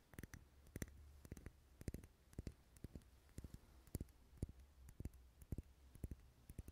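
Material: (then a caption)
Wax. Fingernails tap quickly and repeatedly on a lit, dark red solid wax pillar candle held in the hand. The taps come as short, dull clicks in small irregular bursts with almost no ring, over a quiet low rumble.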